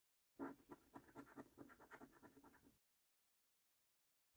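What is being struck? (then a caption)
Paper scratch card with latex coating, scraped with a coin. A coin scrapes the latex coating off a £15 National Lottery "Luxury Lines" paper scratch card, a flat, thin cardboard card held down by the fingers of one hand. About eleven rapid, short, raspy scratches run together for roughly two and a half seconds. They are quiet and mid-toned, followed by silence and a faint sound starting at the very end.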